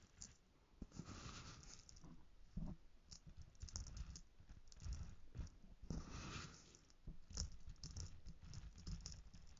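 Fingertips dig into, scrunch and rub coarse pink bath salt crystals in a small light-green plastic bowl held in one hand. The result is a quiet, dense patter of short gritty crunches and scratchy rustles that swell and fade over the clip, with a low, soft body and brief bright crackles.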